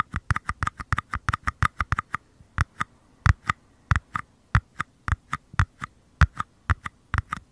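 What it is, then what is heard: Small paper cups tapped. Small empty white paper cups, one held in each hand with the bottoms toward the mic, are tapped and scratched by thumbs and fingers. About 31 short, dry taps are heard, quick and evenly spaced at first, then sparser, each with a soft low thump and a hollow papery click. They stop instantly with no ring, against a quiet background.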